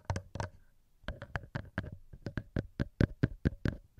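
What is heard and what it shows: Fingertips tap directly on the two small cylindrical metal microphone capsules of a handheld recorder. Fifteen short, dull, thumping taps land in an uneven rhythm, with a brief pause after the first few. Each tap is heavy in the lows and dies away almost instantly.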